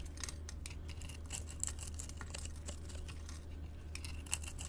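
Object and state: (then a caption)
Glycerin soap bar being cut. A utility blade scrapes small cubes off a solid orange translucent glycerin soap bar with pink glitter, scored in a grid pattern and held in a hand with long painted nails. Quick, bright scraping clicks sound over a steady low hum.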